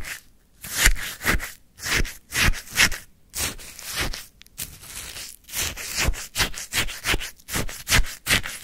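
A wooden stick stirs and scrapes through a white paper cup full of icy frozen lemon sherbet, producing a series of crunchy, gritty scrapes in an uneven rhythm. Each stroke is a short, bright burst of rasping texture with a soft low thud underneath, separated by brief quiet gaps.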